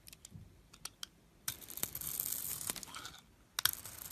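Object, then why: Glittery bar soap shaved with a metal blade. A solid glittery silver and white bar of soap, held in the fingers, is shaved with a metal blade so flakes come off. Soft scattered ticks give way to a bright, crisp scraping and crinkling stretch. It ends with a few sharp clicks.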